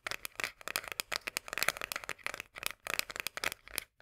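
A full tinplate corn can is held upright while long nails rapidly tap and scratch its top rim and upper side. The sound is a dense run of sharp, bright metallic clicks and short scraping scratches that die away almost at once. It sits mostly in the high frequencies, with very little low end.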